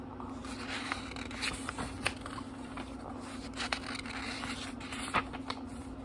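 Fingertips flip groups of thin paper pages in a small, thick book, making soft, bright rustles and crisp flicks with brief sharp snaps as pages fall. A steady low hum runs underneath throughout.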